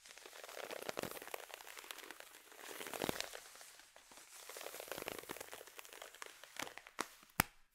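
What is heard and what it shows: Long white-tipped fingernails scratch along black nylon fishnet tights on crossed legs, making a soft, bright, crinkly rustle that swells and fades in waves. A few sharper clicks stand out near the end.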